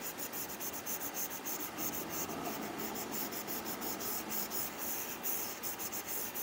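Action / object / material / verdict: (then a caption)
scrape / plastic stylus on matte plastic film over tablet glass / plastic film / none. A hand wearing rings scratches and rubs the plastic tip of an Apple Pencil across an iPad's glass screen, which is covered with a matte plastic screen protector, while drawing lines. The result is a steady, dry, scratchy rubbing with a bright hiss, rising and falling in quick, uneven strokes about three times a second.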